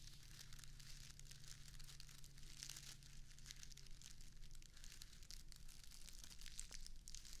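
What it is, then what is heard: Artificial grass turf square. A small square of plastic artificial grass turf, held in one hand, has its blades raked and scratched with long acrylic nails. The result is a continuous, quiet, bright crinkling and scratching texture with many tiny rapid ticks. A faint steady low hum runs underneath.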